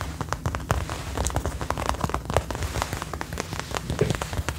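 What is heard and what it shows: Long nails on both hands scratch and tap the front chest panels of a worn brown faux leather jacket in a rain-like pattern. The result is a dense, steady patter of short, dry taps and soft scratches with a low, full body and little brightness.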